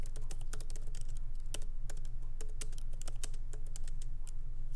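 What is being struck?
Laptop keyboard with plastic keys in metal body.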